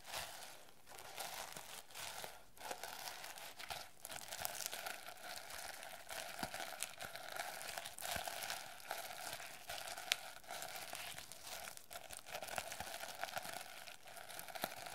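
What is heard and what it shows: Long nails and fingers scratch and rub across a plastic sequin-covered notebook cover, making a steady, bright crinkling rasp. Many tiny dry clicks and ticks rise out of it as the sequins flick under the nails. The texture stays even and close throughout, with no ring after each click.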